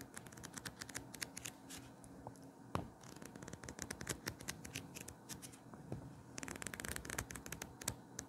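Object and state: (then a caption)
Paperback book pages being riffled. A small paper paperback, a solid stack of pages held open in both hands, has its pages riffled and flipped with the fingers. Quiet, dense runs of crisp, bright papery ticks and flutters sit over a soft low rustle, with busier bursts at the start and end and one sharper snap near the middle.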